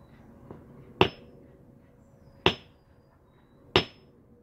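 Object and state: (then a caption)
Geode struck with a hammer. A small, roundish, fist-sized or smaller geode of solid stone, resting on a brick patio and steadied by one hand, is struck with a small metal hammer in an effort to crack it. A faint tap comes first, then three sharp, bright, ringing impacts fall at uneven intervals, each fading within a moment over a quiet background.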